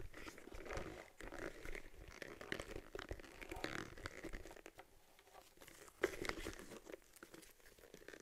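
Long dark nails tap and scratch the surface of a small, hollow, empty brown cowhide leather camera case for an Argus C3, with a stitched lens bulge, resting on a table. The result is a dense run of quick, dry taps mixed with crinkly, crunchy scraping. A louder sharp tap comes near the six-second mark before the sound settles into softer scratches.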